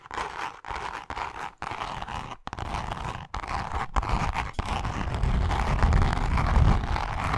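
Long nails scratch and tap across the face of a pink, grained leather wallet. A dense, rasping scratch runs almost continuously with a few brief pauses and fine tapping texture. It grows louder and heavier in the low end toward the close.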